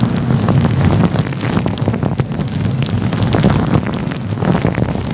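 Fingers of both hands rub a fluffy grey-white synthetic faux fur windscreen covering a microphone. This produces a steady, dense, low rumbling scrape with soft rustling crackles throughout, much like wind buffeting or rain.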